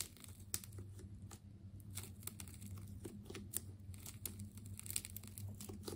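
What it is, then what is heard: Plastic tape ball being cut. A utility knife blade slices into a hand-sized ball of wound purple and blue plastic tape, giving a quick run of bright, sharp crinkling and tearing snaps. A steady low hum runs underneath throughout.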